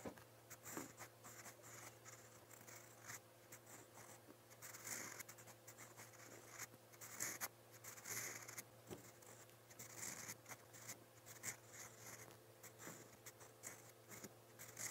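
A silver steel fountain pen nib scratches across a lined white page of a spiral paper notebook, writing brown Korean characters. Quiet, bright, papery scratching strokes come in irregular short bursts with brief pauses, over a steady low hum.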